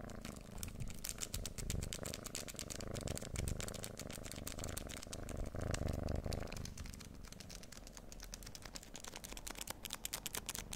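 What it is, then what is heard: Plastic-wrapped chocolate bar, unopened. A full-size, solid, unopened Snickers chocolate bar in its plastic wrapper is held in both hands and tapped and scratched with the fingernails. Rapid, irregular crinkly clicks and scratches run throughout over a low, steady hum, which drops off slightly after about six and a half seconds.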